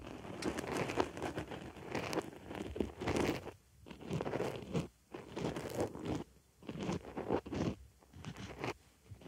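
A wooden stick scratches inside the hole of a white foam makeup sponge resting on a microphone ear. It makes close, dense crunching and crinkling scrapes in bursts, separated by brief near-silent pauses. The sound is mostly low-mid, with little bright content.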